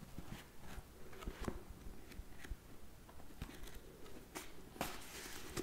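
A thick, small hardcover book with a black cover and a solid block of cream paper pages is held in one hand while the fingertips of the other hand tap on and fan through the top page edges, flipping the pages. Quiet, soft, dull taps mix with brief papery flutters and light crackles, with bright rustling bursts near the end. The sound stays low and muffled throughout, and each tap dies away quickly.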